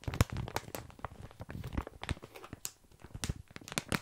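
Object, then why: Plastic bag of small dry pasta. A full, sealed plastic bag of tiny dry pasta is held in both hands while fingertips scratch and press the crinkly plastic. Close, quiet crinkles and sharp crackling bursts come with a low rustle from the shifting pasta, each snap bright and dying away almost at once.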